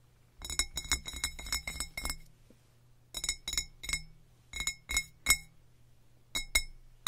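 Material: Glass.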